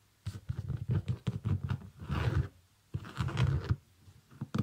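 Fingernails scratch and tap the upper and sole of a small, empty, shiny iridescent synthetic leather sneaker. Bursts of soft, low, dull scratching and tapping come in quick clusters, with a short pause midway. The sound is quiet and close, with almost no ring after each touch.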